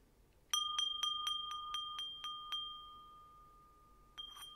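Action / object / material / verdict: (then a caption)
strike / small metal singing bowl / metal / none. A small, hollow, empty metal singing bowl resting on an open palm is struck with a thin white stick in a quick run of nine even taps, then once more after a pause, for ten hits in all. Each tap gives a bright, bell-like ping with steady tones near 1.2 kHz and 3.2 kHz. The ringing builds and hangs on, fading slowly between and after the strikes.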